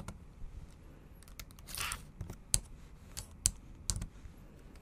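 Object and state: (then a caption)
Plastic laptop keyboard being typed on. Long acrylic nails type on the plastic keys of a bare, backlit MacBook Pro keyboard, producing quiet, irregular clicks and taps with very short decay. Around the two-second mark a brief, brighter rustling burst is heard, and a few sharper, louder key strikes stand out later over a low background hum.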